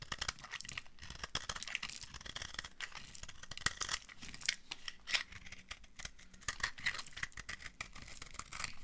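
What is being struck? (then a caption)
Bar of soap. A hand-sized solid bar of dry pink soap, held in the hand, is carved with a utility cutter blade that scrapes off shavings. Long dark nails are visible on the hand. The result is a steady run of dense, bright, crisp scraping and crumbly flaking sounds with short sharp cuts and almost no ring.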